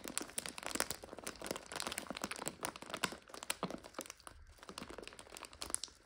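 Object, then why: Plastic bag of dry egg noodles. A plastic bag full of dry egg noodles is held upright while fingers and long nails squeeze and crunch the bag and the noodles inside. The result is a dense, continuous run of bright plastic crinkles and brittle crunching snaps, with a brief quieter dip near the end.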